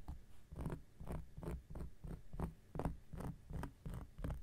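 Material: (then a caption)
Cork. An X-acto knife blade scratches across a large, round, flat coaster of solid cork lying on a surface. It makes 13 short, dull, rasping strokes in an uneven rhythm. The sound is mostly low and muffled, with almost no bright edge and very little ring after each stroke.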